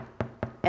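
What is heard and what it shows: A freshly baked gluten-free wholegrain sourdough loaf, just tipped out of its tin, is tapped three times, each tap giving a short, hollow knock. The third tap is louder and brighter than the first two. The hollow sound shows the loaf is baked through.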